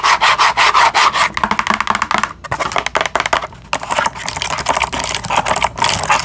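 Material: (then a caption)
Cardboard. Long acrylic nails scratch and tap fast on a cardboard box of bamboo toothbrushes and its window, with the package held close and turned. The result is a dense, irregular run of dry, papery scratches and crisp taps, with a bright, raspy texture centred around 1 kHz. It is broken by a few brief pauses.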